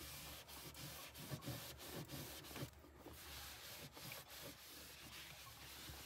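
A hand holding a pink cloth rubs and wipes the wet floor and lower bin area of an empty mini fridge's hollow, black molded plastic interior liner. The result is a steady, broadband scrubbing hiss with a low hollow rumble, repeating in uneven swipes for about six seconds.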